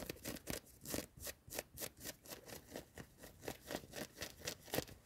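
Long nails scratch quickly over the sleeve and ribbed cuff of a worn yellow knit cotton hoodie in a car. About 17 short, rough bursts of fabric scratching follow one another at a slightly uneven pace. Each burst carries a bright, hissy texture over a dull scrape centered near 500 Hz.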